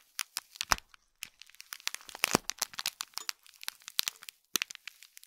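Fingernails scratch and press the crinkly plastic film around a small gold foil-wrapped gift box, giving quick, bright crackles and crinkles. Dense bursts of short clicks come and go with brief quiet gaps, with almost no low end.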